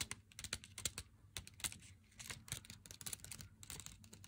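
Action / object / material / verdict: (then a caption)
tap / cardboard box with a chocolate bar inside / cardboard / none. Long fingernails tap and scratch the face of a full, glossy cardboard box of Meiji Black chocolate with the bar still inside. The result is a quiet, rapid run of dry, bright clicks, each dying away almost instantly, mixed with brief scratchy strokes over a faint low hum.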